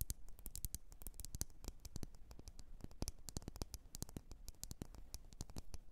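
Long nails scratch and tap quickly against the sides of a lit, wax-filled red glass candle jar. The rapid taps are short, crisp clicks with bright tops and a soft, dull low body, and they die away almost at once over a faint scratchy hiss.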